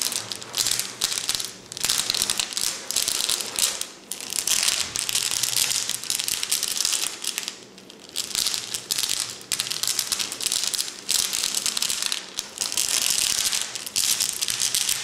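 A tall clear glass cylinder vase, about 30 cm long, lies on its side on a table, full of flat glass gems and held at both ends while fingertips and painted nails tap and scratch the glass. As the vase rocks, the gems shift inside in a dense, bright clicking and rattling with almost no low end. It comes in continuous bursts, easing briefly around 4, 8 and 11 seconds.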